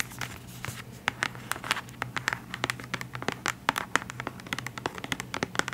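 A full white plastic CeraVe cleanser bottle with a pump is tapped and scratched with long acrylic nails. Quick, dry clicks and scratchy scrapes follow one another in a rapid, uneven patter, each stopping almost instantly. A faint low hum runs steadily underneath.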